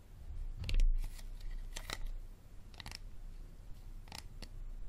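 Fingernails tap and scratch along the side and label of an empty, hollow, clear plastic Dasani water bottle held upright in both hands. Sharp, bright clicks come in small clusters, with scratchy rustling between them over a faint low rumble.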